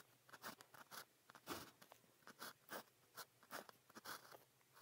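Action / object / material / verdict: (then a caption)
scrape / plastic pen tip on a paper sheet / paper / none. A blue plastic pen tip is drawn across a sheet of grid practice paper while writing, making about fifteen short, dry, scratchy strokes with brief quiet gaps between them. The strokes are soft overall, with a faint crunchy, papery rasp that reaches into bright high tones.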